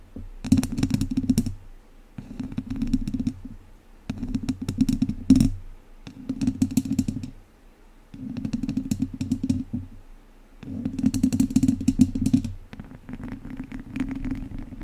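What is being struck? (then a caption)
Metal wire-mesh microphone grille scratched with wooden chopsticks. The tips of two wooden chopsticks scratch and rub the hollow metal wire-mesh dome grille of a studio microphone from both sides. Close, dry scratching and rasping comes in bursts of one to two seconds separated by brief pauses. Each burst has a heavy, boomy low body and a fizzy, crackly edge, and the last stretch runs softer and more continuous.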